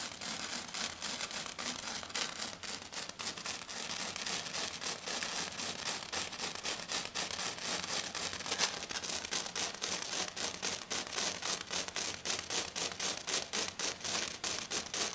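A hand with long dark nails scratches fast and hard across a flat silver glitter foam sheet. The result is a dense, steady stream of bright, rasping scratches that turn into sharper, more distinct rhythmic strokes in the second half.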